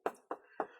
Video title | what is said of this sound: Excited best NEW Affordable HiFi Speaker Stands NeXXus | i can tap it and you can hear there's absolutely no ringing in that speaker stand at all